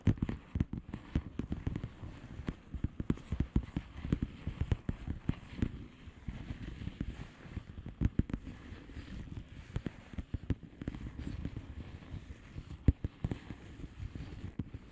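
A flat blue plastic bubble wrap envelope with air-filled bubbles is tapped and scratched with long painted nails. The result is a steady stream of soft, dull, low taps with very short decay, mixed with faint rustling scratches and little bright content.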